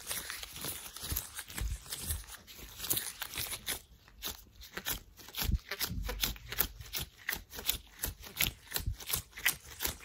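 Hands in worn, thin white latex gloves are waved and rubbed together, making the rubber crinkle. A steady run of quick, bright crinkles, squeaks and snaps comes in rapid bursts, with occasional soft low thumps underneath.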